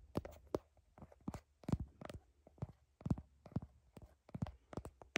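Long nails tap quickly on the back of a smartphone in a blue heart-shaped plastic case, picked up by the phone's own microphone. About a dozen quick, dry taps sound as dull, low thuds with short clicky edges, each dying away almost at once, over a faint low hum.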